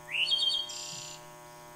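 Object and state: Nothing is struck.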